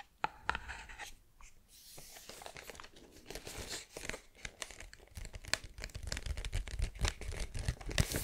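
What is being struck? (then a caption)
Cardboard tube with metal-rimmed lid. Long green-painted nails tap and scratch the lid and side of a hollow, green and white cylindrical cardboard tube of tuiles crisps with a metal-rimmed lid, held close to the microphone. Quick, dry taps with a soft hollow thud mix with bright, papery scratching and crinkling. The irregular, busy pattern grows denser and slightly louder toward the end.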